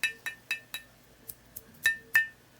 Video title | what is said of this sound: Glass Glue | it sounds, you could hear that it was broken before